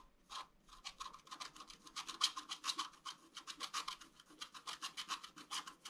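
A bamboo stylus scratches lines into the waxy black surface of a flat scratch art card made of black wax-coated paper. About 29 quick, dry, bright scratching strokes follow one another in a steady rhythm. The sound is quiet, with almost no low end.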